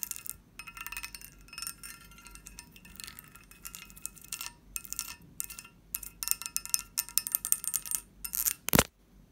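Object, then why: Pressed-glass candy dish with lid. A medium, hollow, empty pressed-glass candy dish with a textured surface and a lid is tapped and scratched with long fingernails on both the lid and the bowl. Quick bright clicks and taps ring only briefly, mixed with scratchy rustling. They come in dense clusters, with one sharp, louder tap near the end.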